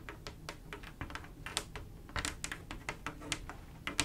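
Long acrylic nails on both hands tap rapidly across a mirror glass mosaic tile picture, a flat panel of silver mirror-glass mosaic tiles with grout. The result is a quick, uneven stream of sharp, bright clicks that stop almost instantly, over a low, steady background rumble.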